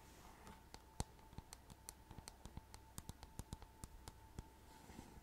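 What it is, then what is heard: Rhinestone-covered plastic hairbrush (nail taps). Long nails tap and scratch the glittery back of a rhinestone-covered paddle hairbrush with a hollow plastic body, close to the mic. About twenty quick, dry clicks ring out over a soft scratchy hiss, with a faint steady hum underneath.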